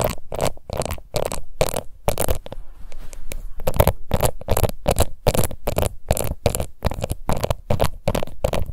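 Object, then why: Plastic face powder compact. Long nails scratch across the embossed lid of a small, round, pink plastic face powder compact. Quick, rhythmic strokes make dense, raspy scraping bursts separated by brief gaps, with a softer, quieter stretch of scratching near the middle. The sound is dry and heavy in the low end, with little brightness.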